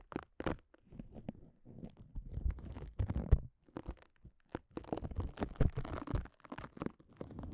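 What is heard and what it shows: A strip of red self-adhesive cohesive fabric bandage wrap is held in the hands and pulled apart and peeled with long nails. It gives a quiet, crackly tearing texture of many short, dense bursts, weighted low but with bright crackle on top, separated by brief pauses.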